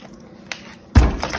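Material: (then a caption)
Plastic. Long yellow-painted nails tap on the lid of a small, round, clear plastic tub filled with green kinetic sand, held in one hand. Three taps are heard: a light tick, then a heavy, deep thud with low body, then a softer tap as the sound fades.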